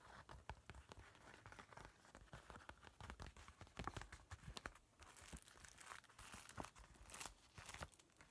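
A large, flat zipper pouch made of crinkly laminated woven plastic with a mermaid print is held in both hands while fingertips scratch and crumple its surface. The result is a dense, continuous stream of sharp crinkling and scratchy rustles with frequent brief louder crackles.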